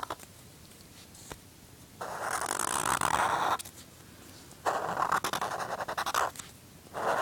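A black felt-tip marker is drawn across a flat white paper sheet bearing a pencil sketch, producing scratchy, squeaking strokes centered in the midrange with a bright hiss above. Three long drawing passages stand out from quiet pauses, the second breaking into quick, choppy short strokes and the last starting just before the end.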